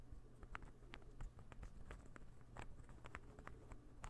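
A small, solid, assembled light-wood interlocking ball puzzle is held in the hand and tapped rapidly with fingertips and nails. The result is a quiet, irregular patter of quick, dry, clicky taps that die away almost instantly, over a steady low hum.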